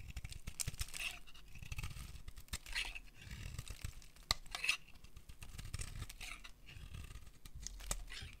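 A solid white dry soap bar, held in the hand, is carved and scraped with a metal utility blade, and curls of soap fall onto a pile of shavings. Dry, crisp scraping and tearing rasps come in repeated strokes, bright and crackly on top with a soft low rumble beneath. Several sharp clicks stand out where the blade bites or snaps through.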